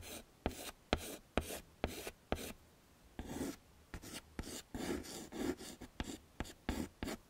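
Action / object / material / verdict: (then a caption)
scrape / chalk stick on a chalkboard / chalk / none. A stick of pink and white chalk, held in the fingertips, is scraped across a small flat black chalkboard in a wooden frame to draw flower petals. Thirteen short, dry, scratchy strokes are heard, each beginning with a sharp tap and trailing into a bright rasp, with a brief quiet pause midway.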